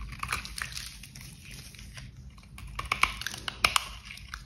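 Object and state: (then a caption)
Bar soap being carved. A box cutter blade carves small flakes off the edge of a solid, dry pink glitter bar soap held in gloved hands. Repeated scraping and cutting strokes make soft, bright crunches and sharp crackling clicks at an uneven pace, with the loudest snaps near the end.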